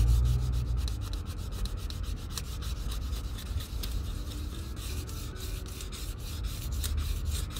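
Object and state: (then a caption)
Leather cowboy boot being sanded. Fine sandpaper is rubbed by fingertips across the vamp and toe of an empty leather Red Wing Pecos 9801 cowboy boot held in hand, sanding it during restoration. A steady, dry scratching hiss with a heavy low rumble underneath rises and falls in quick, uneven strokes throughout.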